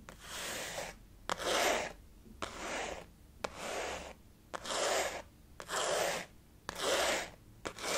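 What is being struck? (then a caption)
Synthetic leather zip wallet. Fingernails scratch and rub across the top of a blue, flower-printed synthetic leather zip wallet lying flat. Each stroke makes a soft, airy scratching hiss, sometimes opening with a small tap. The strokes repeat about once a second with brief quiet gaps between them.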